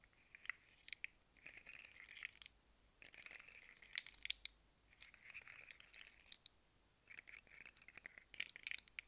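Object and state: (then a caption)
Plastic fidget slug toy segments clicking. Hands twist and dangle a rainbow segmented plastic fidget slug with hollow segments, making the segments click and rattle. Quiet bursts of rapid, dry, bright clicking come in clusters, separated by short near-silent pauses.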